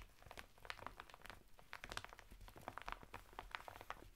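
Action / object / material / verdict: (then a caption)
scrape / woven fibre bath mitt sealed in thin plastic packet / plastic, natural fibre / none. Fingertips and nails scratch the textured surface of a flat bath mitt made of coarse woven natural fibre, sealed in a thin printed plastic packet that stands upright on a table. Quiet, dense crinkly scratching sounds, with many short, bright, crackling ticks centered around 1.5 kHz. A faint low rumble runs steadily underneath.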